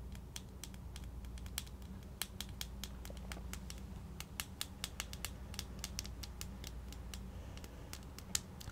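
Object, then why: Small plastic jar with screw lid. A small plastic Vaseline petroleum jelly jar with a blue screw lid and translucent body, probably full, is held in one hand while the fingertips and short nails of the other hand tap on the lid and rim, possibly also twisting it. Quick, bright plastic clicks and light taps patter unevenly throughout, each dying away almost instantly, over a steady low hum.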